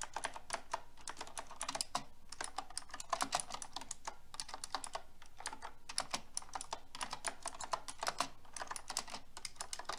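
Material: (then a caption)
Plastic. Fingertips with long red nails type rapidly on pink plastic keycaps of a silver metal mechanical keyboard. The result is a dense, steady stream of short, bright plastic clacks that die away quickly, with occasional louder key strikes standing out over a low background hum.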